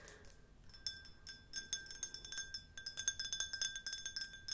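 Long nails tap rapidly and irregularly on a tall, clear, hollow, empty glass drinking tumbler held in the hands. Each tap gives a short, bright clink, with a steady glassy ring near 1.6 kHz and higher overtones lingering between the taps.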